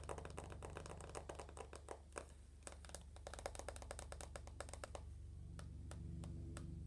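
Long nails tap quickly on the glass screen and aluminum frame of an uncased iPhone with its lock screen on. The taps are crisp, bright clicks in an uneven rhythm over a steady low hum. They thin out briefly in the middle and become sparser near the end.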